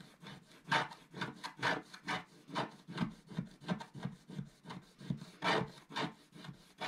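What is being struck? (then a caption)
Black-coated scratch-art paper scraped with a wooden stylus. A wooden stylus scrapes the coating of a flat, black-coated scratch-art paper sheet held flat by one hand, working in the upper right area. About 14 short, dry scratching strokes repeat at an uneven rhythm, each a soft rasp with a bright, papery edge that dies away almost at once.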